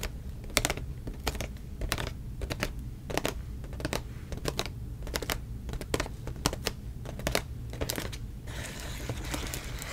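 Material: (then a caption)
Plastic. Long nails tap and scratch across the surface of a silver plastic bubble mailer standing inside an open white box. Sharp, bright clicks come in quick irregular bursts over a steady low hum, and in the final second and a half they give way to a denser, crinkly scratching hiss.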